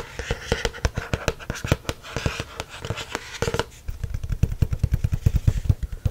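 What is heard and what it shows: Fingertips and nails tap and scratch the glossy, watercolor-printed stiff card cover of a spiral-bound notebook, making a quick run of short, dry taps. In the first half the taps mix with brighter scratchy rustle; after that they turn into duller, low, thumpy taps that stop dead with no ring.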